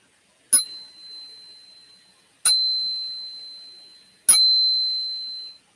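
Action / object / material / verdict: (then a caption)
strike / silver coin / silver / none. A silver coin or round is struck three times for a ping test. Each strike produces a bright, high-pitched, bell-like ring that sustains for one to two seconds before fading.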